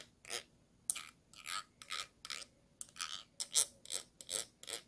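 A thin stick tool scratches the ridged bottom rim of a small, round, clear glass jar with a yellow lid, held hollow in the hand. About fourteen short, irregular, dry rasping strokes are heard, bright and hissy with almost no low end. Each stroke stops abruptly with no ring.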